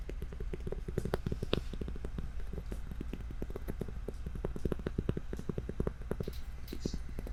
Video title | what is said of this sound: Gibi ASMR Live Show - Full HD | it sounds pretty nice when you tap on it